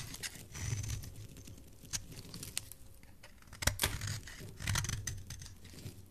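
A solid white bar of soap with purple specks, held in the hand, is scraped with a metal blade. It makes dry, crisp scratching and crackling bursts with a soft low rumble underneath, and sharp bright clicks stand out where the blade catches.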